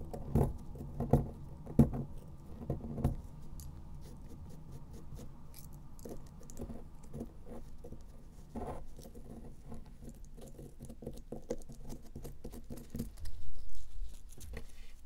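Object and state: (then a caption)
Pressed powder bath bomb. A thin metal pick scratches and pokes the surface of a solid, round pressed powder bath bomb held in the hand. The result is a dense, soft patter of dry, gritty scraping, mostly low and muffled. Sharper pokes stand out in the first few seconds, and a louder stretch of scraping comes near the end.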